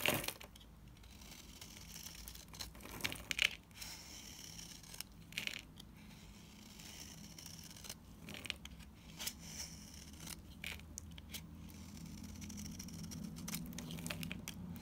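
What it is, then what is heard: Dry bar soap being cut. A solid, dried light green bar of soap is cut with rapid strokes of a utility knife, shaving off powdery flakes. Each stroke gives a dry, crisp scrape and crackle with bright, high-pitched edges, over a faint steady low hum.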